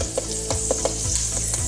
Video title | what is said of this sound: Cookin with Trent - Pork Belly | you can hear that how crispy that skin is there